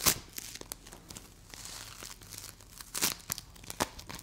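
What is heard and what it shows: A solid bright green play foam ball made of small polystyrene beads is pulled apart into two halves and pressed between both hands with long acrylic nails. Squeezing and tearing produce a bright, crunchy crumpling with a string of sharp crackles over a soft, steady bed of fine grainy rustle.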